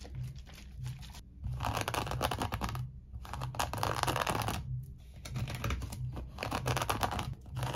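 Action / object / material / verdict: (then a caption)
scrape / woven seagrass rope bowl / seagrass / none. Fingertips and nails scratch and rub the rough woven base of a small, empty, hollow bowl made of coiled natural seagrass rope, held upside down. Dry, crackly scratching and rustling come in several waves separated by brief quieter pauses, over a steady low hum.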